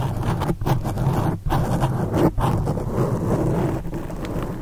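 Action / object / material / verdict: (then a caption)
scrape / foam microphone windscreen / foam / none. Long acrylic nails on both hands scratch and rub the sides of a black foam windscreen on a condenser microphone. The result is a dense, steady, low rumbling crackle with brief dips in between.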